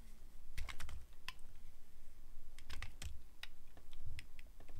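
A metal blade carves into a solid translucent glycerin soap bar, producing a run of short, crisp clicking and scraping cuts with bright, sharp transients. Beneath the cuts sits a steady low rumble, and each cut dies away almost instantly.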